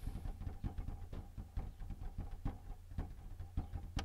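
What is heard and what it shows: Fingertips tap steadily on the top surface of a white plastic Canon inkjet printer with a hollow casing, near the front edge, with the hands held in the same position throughout. The taps are dull, hollow, low-pitched knocks that die away almost at once, over a constant low rumble.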